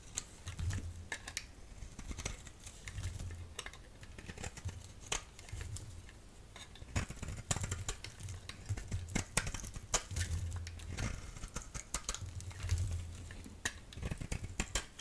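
A solid orange-yellow rectangular bar of soap is held in the hand and shaved with a utility knife blade. Quick, crisp scraping clicks and crackles come in dense bursts over a low, rhythmic rumble, with bright flecks as the curls come away.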